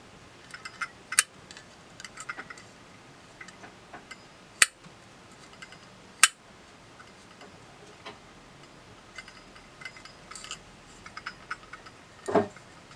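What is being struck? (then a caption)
Small brass pocket compass with hinged lid. Fingers handle a small round brass pocket compass held open in the hand, clicking its metal case and hinged lid. The result is quiet, irregular, bright ticking clicks with a few sharper snaps standing out over a soft background, followed at the end by a brief scraping rattle.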